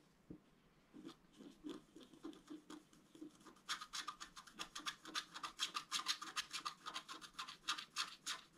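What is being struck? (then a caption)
Scratch-art card with black coating over colored foil, scratched with a wooden stylus. A wooden stylus scratches lines into the black coating of a flat scratch-art card with colored foil beneath, lying on a table. Soft, scattered scraping strokes come first, then from about the midpoint the strokes turn quicker, louder and brighter, a dense run of short, dry, high scratches.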